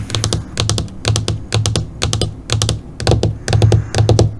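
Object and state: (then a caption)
LCD computer monitor screen. Long fingernails tap quickly on the surface of a flat black LCD computer monitor screen. The taps come in short bursts of sharp, bright clicks with a soft low thud beneath each one. They repeat at an uneven rhythm throughout.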